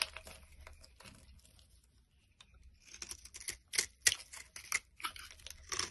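A solid brown bar of soap, held in the hand, is carved with a box-cutter blade into crumbly chunks. Dry, bright scraping and crackling cuts come in quick, irregular strokes with almost no ring. They fade to a near-quiet stretch in the middle, then return as sharper, louder slicing crunches.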